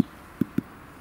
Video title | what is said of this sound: Brot backen im Dutch Oven, leicht gemacht / bake bread in the Dutch Oven - die sachsengriller | Es sollte sich hohl anklingen oder anhören. Das macht es natürlich auch.